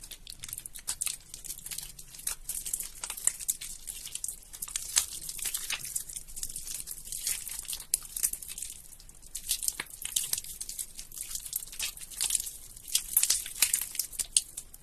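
Long-nailed fingers squeeze and tear a white lump of soaked, mushy soap held over a plastic tub of soapy water. The result is a dense, continuous stream of wet, bright crinkling and squelching crackles, with sharper tearing bursts scattered throughout.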